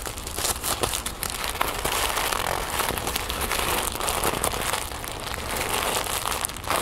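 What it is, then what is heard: Tissue paper crinkled. Thin orange-copper tissue paper, folded flat on a wooden table, is crinkled and scratched with long painted nails and fingertips. The result is a steady, dense crinkling and crackling with bright, papery scratches that runs without a break.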